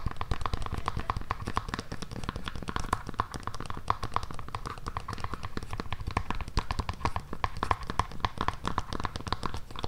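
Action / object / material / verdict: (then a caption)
tap / suede pump with hard synthetic sole / synthetic sole / none. Long nails tap and scratch the tan, hard synthetic sole of a black suede pointed pump held close to the mic. A steady stream of quick, dry clicks and scraping lasts the full ten seconds, with a faint tone near 1 kHz running underneath.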